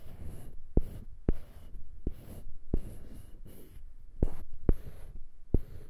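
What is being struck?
Small wooden cube on a wooden handle.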